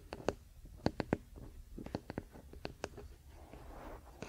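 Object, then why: Wooden paddle hairbrush back. A large, flat wooden paddle hairbrush lies bristles-down on a fluffy blanket while the fingertips and short nails of both hands scratch and tap its solid wooden back and handle. Thirteen quick, dry taps stand out, each dying away almost instantly, over a soft, low scratching. A brief, brighter rustle comes near the end before a final tap.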